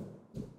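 A knock on the ceiling beneath a terrace slab gives a single hollow-sounding thud. It is low and short, centred around 190 Hz with no high content, and dies away quickly. The hollow sound suggests a space above the ceiling that needs opening up to check.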